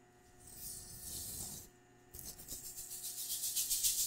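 A large pink metallic plastic-foil tinsel pom-pom is held by its handle and shaken close to the microphone, its strands possibly brushing against it. A bright, crinkly rustle swells and then stops briefly. It resumes as quick, rhythmic shaking bursts that grow louder toward the end.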